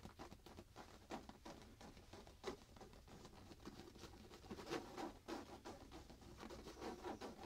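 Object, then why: Printed fabric pillow. Both hands rapidly scratch and patter with fingertips and nails on a soft printed fabric pillow hugged to the chest. The result is a quiet, dense run of irregular soft taps and scratchy rustles, with occasional brighter scrapes over a low, muffled thrum.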